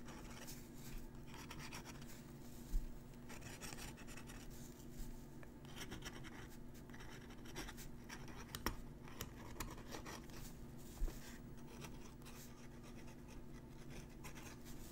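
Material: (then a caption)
Paper. A metal dip-pen nib scratches lines across a crumpled sheet of letter paper with torn edges, held flat by a fingertip. The scratching is soft and continuous, with a few sharper ticks standing out over a steady low hum.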